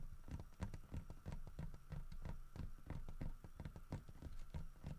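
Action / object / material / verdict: tap / carved wooden bear statue / wood / none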